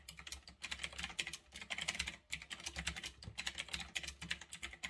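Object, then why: Mechanical keyboard with round plastic keycaps. Fast typing on a retro typewriter-style mechanical keyboard with round backlit plastic keycaps, resting on a desk. A rapid stream of crisp, bright key clicks with short gaps, each click dying away almost instantly with a faint low thud underneath.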